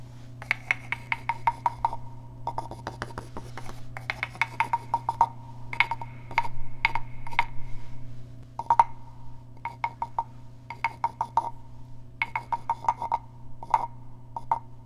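A small hollow carved wooden frog guiro, held in one hand, has its ridged back scratched with fingernails, producing quick bursts of short, dry, clicking rasps with a hollow tone near 930 Hz and bright upper edges. The scrapes come in uneven clusters with brief pauses over a steady low hum.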